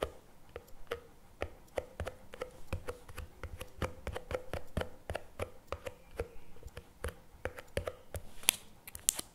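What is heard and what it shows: Fingertips and nails tap quickly on the plastic lid and paperboard sides of a CremaNovi chocolate spread tub standing on a table. The result is a rapid, irregular stream of short, dry clicks and taps with almost no ring. A faint hollow tone sits under the taps, and a few sharper, brighter nail clicks land near the end.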